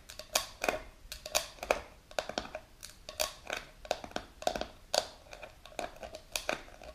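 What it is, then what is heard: Plastic jar lid tapped with nails. Long pink nails tap and scratch the clear plastic lid of a medium plastic supplement jar filled with powder. Quick, dry, clicky taps come in an irregular run with bright edges and a light hollow tone around 620 Hz. Each tap dies almost instantly, with soft scratching between them.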